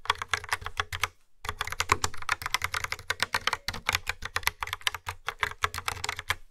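Fingertips with long nails type steadily on a yellow-framed, black plastic mechanical keyboard with dark round keycaps and a hollow plastic body. The result is a rapid stream of sharp, bright clacks with a hollow low thud under each press, broken by one brief pause just after the first second.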